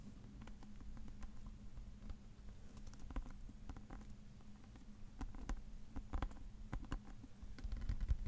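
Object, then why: Hardcover paper book. Fingertips and nails tap and scratch the cover and cream page edges of a thick, solid, dark hardcover paper book held in the hands. Soft, dry taps and faint scratchy patter sit over a steady low hum, with the taps growing denser and slightly louder toward the end.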